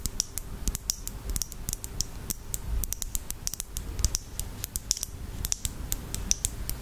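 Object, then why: Small glass bottle with plastic cap. Long fingernails tap on a small glass bottle of red nail polish and its black cap. A quick, uneven run of sharp, dry clicks, each with a bright, high glassy tick that dies away almost instantly, over a soft low rumble.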